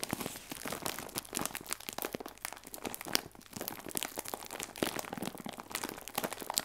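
A clear plastic bag full of hazelnut biscuits, tied at the top, is held and squeezed by two hands with painted nails. It makes a steady stream of dense, bright crinkling and crackling with sharp snaps, and the sounds die away almost instantly.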